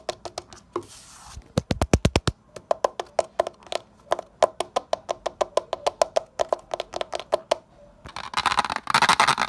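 A fingertip and short nail tap rapidly on a solid, rough concrete window sill, giving dozens of dry, sharp clicks with almost no ring. A few taps land deeper and fuller near the two-second mark. The clip ends in a dense, noisy rasp across the surface.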